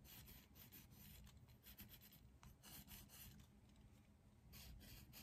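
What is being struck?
Pencil on a paper drawing pad.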